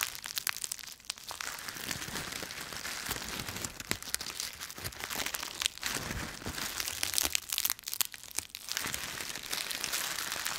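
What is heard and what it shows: A bundle of dry autumn leaves held in both fists is crushed and crumpled, breaking into visible fragments. A dense, continuous crackling crunch fills the clip, bright and high with almost no low end, swelling in brief louder bursts of crinkling.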